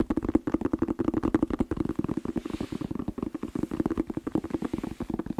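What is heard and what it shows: A whole, hollow red bell pepper is held just below the microphone and tapped quickly with the fingertips. It produces a rapid, continuous series of short, hollow knocks with a dull, resonant low-mid tone and little brightness, each tap dying away almost instantly.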